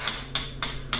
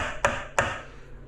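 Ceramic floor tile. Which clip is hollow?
The second.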